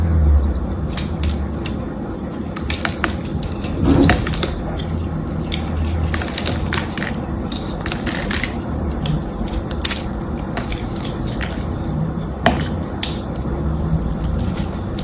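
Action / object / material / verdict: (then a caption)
scrape / bar of soap / soap / none. A solid, palm-sized blue bar of soap with a green and gold coated carved surface is held in hands with long manicured nails and scraped and cut with a small metal knife. It makes a steady run of dry, crunchy scraping with many sharp, bright clicks and crackles over a low background rumble.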